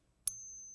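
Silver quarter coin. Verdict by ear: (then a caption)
Real. A 1964 silver quarter is pinged once in the center, giving a sharp strike followed by a clear, high, bell-like ring that holds steady to the end of the clip. The tone marks the coin as genuine silver.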